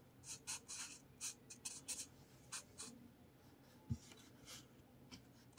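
A blue felt-tip marker draws and scratches across a lined spiral paper notepad resting on a table. Short, bright, airy scratching strokes come in quick bursts with pauses between them, and a single low thump falls near the middle. The overall level is quiet.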